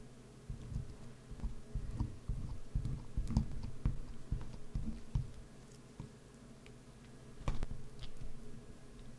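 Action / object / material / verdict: scrape / bar of soap / soap / none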